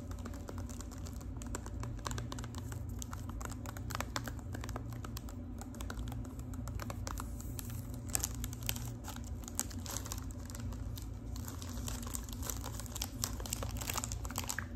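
Long nails tap rapidly on a gold foil-wrapped Lipton tea box and crinkle the loose foil. The result is a steady, dense stream of quick, dry, bright ticks and crackles over a low, constant hum.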